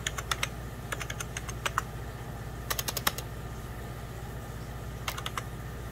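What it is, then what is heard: Plastic computer keyboard. Fingertips with short painted nails type on a hollow beige 1990s Packard Bell plastic computer keyboard. Bursts of short, bright clicks and taps come in quick clusters with pauses between them, over a steady low hum.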